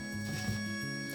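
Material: Nothing is struck.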